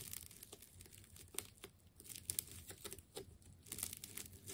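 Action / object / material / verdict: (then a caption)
scrape / wound plastic tape ball / plastic tape / none. A utility knife blade slices into a hand-sized ball of wound green and yellow plastic tape. Quiet, bright crinkling and tearing crackles come in irregular bursts, with a soft low rumble underneath.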